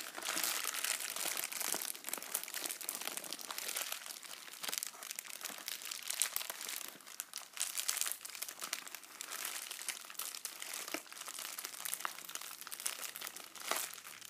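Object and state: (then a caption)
Metallic foil bubble mailer, crinkled. A hollow, apparently emptied pink metallic foil bubble mailer is squeezed, crinkled and rubbed along its surface and edge by fingers. The result is dense, continuous bright crinkling with rapid crackles and scratchy rustles, with almost no low end.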